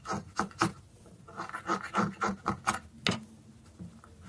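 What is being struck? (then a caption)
Soap stick. A thin, solid, dry orange soap stick held in the fingers has its tip scraped and whittled with a dark metal blade. Nine short, dry scraping cuts come at an uneven pace, each a brief rasp with a bright edge that stops almost at once.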